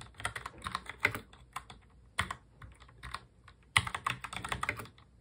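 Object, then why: Plastic mechanical keyboard. Both hands type fast on a full-size black mechanical keyboard with plastic keycaps, fingertips tapping the keys. The result is quick bursts of bright, sharp clacks that stop almost instantly, with short pauses between runs of keystrokes.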